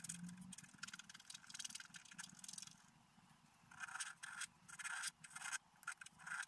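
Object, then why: Black-coated scratch-art paper card scraped with a wooden stylus. A wooden stylus scrapes across a flat black-coated scratch-art card lying solid and flat on a table, producing bursts of dry, bright scratching strokes. The scraping fades to a quieter stretch in the middle, then returns as sharper, louder strokes with pauses between them.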